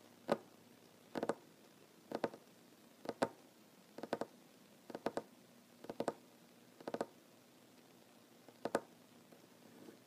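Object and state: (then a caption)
Solid wooden table. Short fingernails of one hand tap rhythmically on a large, solid wooden tabletop. Quick double and triple taps come in bursts about once a second, each a dry, short knock centered near 560 Hz with no ring. A quiet background fills the gaps between bursts.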